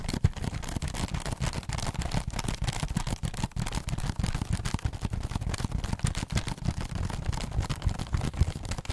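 Pink fingernails rapidly scratch and tap the bottom of a hollow, textured holographic foil-covered cardboard heart box. A dense, continuous stream of quick taps and scratches produces soft, low, hollow thuds under a faint dry scratchy rasp, with short, damped hits and no ringing.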